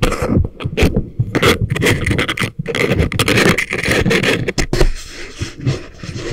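Thin wooden ear picks scrape and scratch inside the canals of both soft, solid, rubbery life-size silicone ear models that make up a binaural microphone. The result is a dense run of close, rough scraping and rustling with a heavy low rumble, broken by brief pauses and sharper bright scratches.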